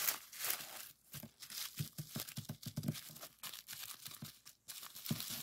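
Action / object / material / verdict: scrape / plastic bubble wrap sheet / plastic / none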